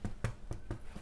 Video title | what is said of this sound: How to make home made Bread - EASY Fool proof recipe! | See, beautifully crunchy, hollow sound. We know it's cooked.